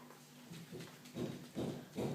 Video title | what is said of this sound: How to make butter with Debra Allard | the cream has thickened transformed into butter